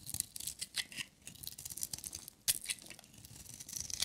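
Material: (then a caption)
Soap. A metal utility knife blade scrapes and shaves a solid, hand-sized, dry orange striped bar of soap, producing crumbly shavings. The sound is a quiet, rapid series of short, dry, crisp scratches concentrated in the bright high range, with almost no low end. One sharper, louder stroke stands out about halfway through.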